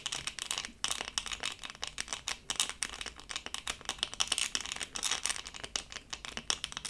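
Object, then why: Resin rhinestone sticker on plastic backing. A small, flat, LOL-doll-shaped diamond-painting sticker, solid and thin, covered in tiny faceted resin rhinestones on a plastic backing, is held in both hands and scratched and tapped with long acrylic nails. The result is a dense, rapid stream of bright, crisp clicks and scratchy, rattling textures that stop sharply with almost no ring or low end.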